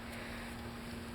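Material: Nothing is struck.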